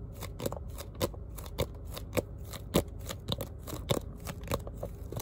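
A small spiral notebook with a printed cardboard cover and metal spiral binding is held up while its cover is tapped and scratched with fingertips and short nails, and its pages are possibly flicked. Quiet, irregular papery taps and dry scratching repeat with short, dull decay over a soft rustling bed.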